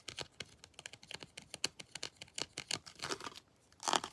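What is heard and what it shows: Long blue nails tap and scratch the body and head of a molded plastic Predator action figure with textured armor, held in both hands. A quick run of sharp, dry, bright clicks with almost no low end and no ring gives way to rougher scratching bursts near the end, the loudest just before it finishes.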